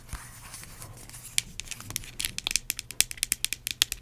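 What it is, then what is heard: Plastic hand cream tube. Long acrylic nails tap and scratch on a small, filled yellow plastic hand cream tube and its cap. Soft, bright scratching opens the clip, then gives way to a quickening run of sharp, dry clicking taps. The taps are crisp and high, with almost no low end and no ring.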